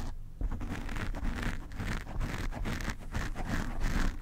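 Fingernails of one hand scratch the black foam cover on a desk microphone, producing a close, continuous bassy scratching and rustling. The rough strokes rise and fall steadily without pause, with almost no bright content.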